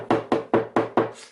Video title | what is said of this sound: Trigger Point Massage Set | very hard as is this one quite hard there is no give to that